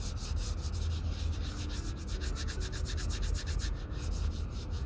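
The toe of a leather Red Wing Pecos 9801 cowboy boot is sanded with a small folded piece of sandpaper held under the fingertips, using brisk rubbing strokes. The sound is a steady, rhythmic scratchy rasp, with a bright hiss on each stroke over a dominant low rumble.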